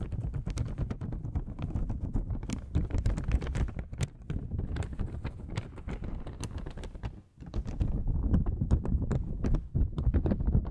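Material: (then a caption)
Paper. A thin, folded beige paper oil blotting sheet is held up and rubbed and flexed with long-nailed fingers. It makes a dense, irregular stream of crinkling crackles and sharp little ticks over a heavy low rumble. The sound briefly drops away near the seven-second mark before resuming just as busily.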